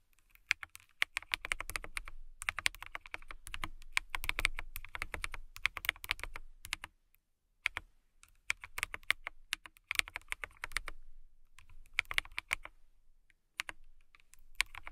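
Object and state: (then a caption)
Acrylic mechanical keyboard. Long nails type on a clear acrylic mechanical keyboard with transparent keycaps, producing rapid, bright, clicky keystrokes with a faint low thump. The typing comes in steady bursts separated by brief pauses, each keystroke short and dry with almost no ring.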